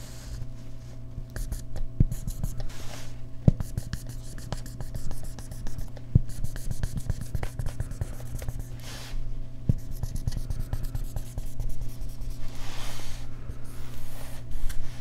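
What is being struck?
Felt-tip marker drawn on a small handheld whiteboard.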